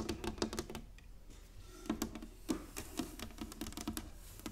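Long manicured nails and fingertips tap and drum across a flat, solid inlaid wooden chessboard with light and dark squares lying on a table. The result is a run of quick, dry, clicky taps with a hollow woody tone near 220 Hz and very short decay, easing into a softer stretch before sharper taps return.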